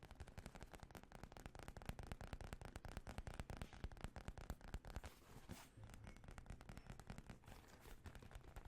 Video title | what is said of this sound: ASMR Fast & Aggressive Tapping for Relaxation | It's made out of leather. I think the leather sounds really good